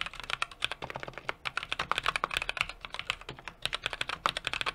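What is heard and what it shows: A small 60% mechanical keyboard with an aluminum case, brass plate and plastic keycaps is typed on rapidly with the fingertips of both hands. About 37 quick, sharp key taps in close succession give a bright, clacky sound with very little low end and almost no ring after each hit.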